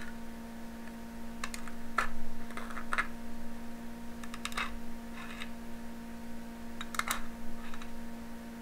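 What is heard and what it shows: A needle held in the fingers repeatedly taps and pokes through taut aluminum foil stretched over a small glass jar. Irregular, crisp, crackly clicks with bright edges come in small clusters over a steady low hum.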